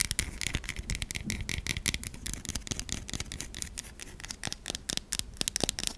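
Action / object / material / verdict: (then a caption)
scrape / solid bar of soap / soap / none. Long nails rapidly scratch the surface of a white, solid, stamped bar of soap. The sound is a quick, dense run of dry, crackly scrapes and ticks with a bright, hissy top and a soft low rumble underneath.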